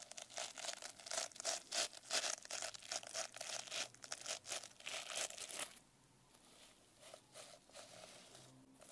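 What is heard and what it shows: Long nails tap and scratch across the sequins of a sequin-covered notebook held up, making rapid, bright, crinkly rustling bursts with a faint mid tone around 600 Hz. The busy scratching runs for about six seconds, then drops to a few softer, scattered taps.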